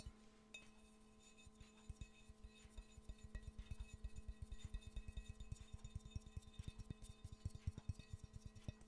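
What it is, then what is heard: Ceramic mug. A hollow, empty yellow glazed ceramic mug shaped like Pikachu is held and tapped quickly with the fingernails, giving a fast, uneven run of short, dull clinks with faint ringing. A steady low hum and faint tones sit underneath the taps throughout.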